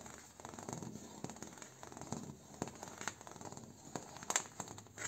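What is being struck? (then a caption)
Bamboo door. A bamboo door is tapped, traced and scratched. The result is a quiet, continuous dry scratching and rustling, broken by sharp, bright taps that die away almost at once.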